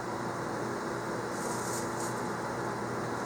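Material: Nothing is struck.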